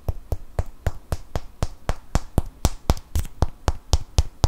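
A small, solid natural cork wine stopper is held in the fingers while fingernails tap and scratch it. About 18 quick, dry taps come in a steady, slightly uneven rhythm. Each is a short click with a bright top and a soft, low thud underneath, separated by faint scratching.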